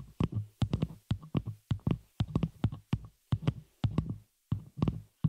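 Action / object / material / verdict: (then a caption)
tap / metal microphone shock mount / metal / none. Long fingernails of both hands tap and scratch the hollow, open frame of a small metal spider-cage shock mount holding a microphone. Quick clusters of dull, boomy thuds, with a low hum-like resonance, are topped by bright clicky attacks. Each thud fades fast before the next burst of taps.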